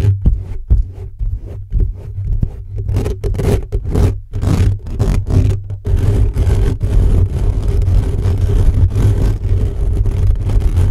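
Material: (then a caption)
Metal mesh. Fingertips scratch and rub fast across the hollow metal mesh grille of an upright black microphone. Choppy, booming scratches with a heavy low rumble come in quick bursts at first, then merge into a steady, dense rubbing roar.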